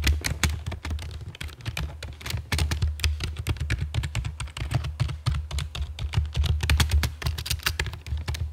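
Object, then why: Plastic computer keyboard. Long fake nails and fingertips type on a full-size black plastic computer keyboard with a hollow body and keycaps, resting on a stone table. A steady stream of rapid, chunky taps carries a deep, hollow low thump under each keystroke, with bright clicky edges that stop quickly.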